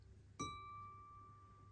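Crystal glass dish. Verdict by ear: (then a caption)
Real. A lead crystal dish is tapped once, giving a crisp, clear chime. The note rings near 1.2 kHz with fainter overtones and fades slowly over more than a second, showing it is genuine lead crystal.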